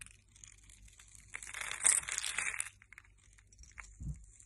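A metal blade scrapes small cubes off the surface of a hand-sized, solid, translucent yellow scored soap bar held in the hand. It makes crisp, bright crunching and crumbling, with a dense, louder stretch of scraping in the middle. Softer, scattered scrapes and a short low thump follow near the end.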